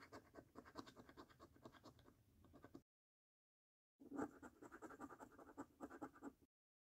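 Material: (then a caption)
Paper. A coin edge scratches the coating off a flat, thin £5 Snack Stack paper lottery scratch card lying on a dark table and held with fingertips, working over the order-numbers and games areas. Quick, dry rasping strokes run in steady bursts with a bright edge. They break off for about a second of silence, then resume more strongly.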